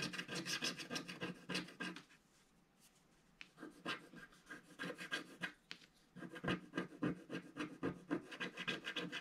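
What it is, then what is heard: Scratch-art card being scratched. A wooden stick scratches the black coating near the lower edge of a flat, solid scratch-art card page. Quick, dry rasping strokes come in rapid bursts of roughly three to four per second, with a quiet pause after about two seconds and a shorter one near six seconds. Each stroke is short and scratchy, with a bright, papery texture.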